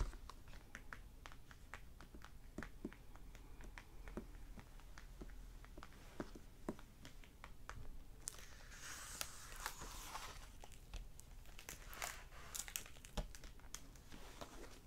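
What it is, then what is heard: Hardback book with plastic-covered dust jacket. A closed hardback library novel lying flat on a wooden table has its glossy plastic cover over the paper dust jacket tapped, scratched and crinkled with fingertips and short nails. The first half is a steady run of quick, dry taps with almost no ring. From about eight seconds on, bright, hissy crinkling and scratching mixes with the taps over a faint low hum, and the book sounds solid.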